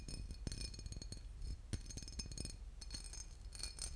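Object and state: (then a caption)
Glass bottle with liquid. A boot-shaped glass bottle with liquid inside is tapped and scratched, giving dense, glassy clinks and ticks over a low background rumble. The short, bright clicks come in quick irregular clusters, with no lasting ring.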